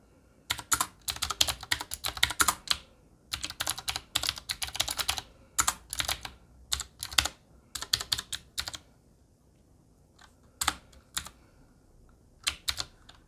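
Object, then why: Mechanical keyboard with metal frame and plastic keycaps. Fingertips of both hands type steadily on a Qwerkywriter typewriter-style mechanical keyboard with a black metal body and round plastic keycaps. Quick runs of bright, sharp key clicks come in bursts separated by short pauses, and each tap dies away almost instantly with very little low end.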